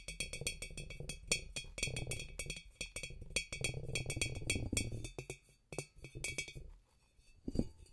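A glass demijohn is tapped in quick bursts, giving short glassy clinks with bright ringing overtones over a soft hollow low thump. The taps come in fast irregular runs with brief pauses and die away almost instantly.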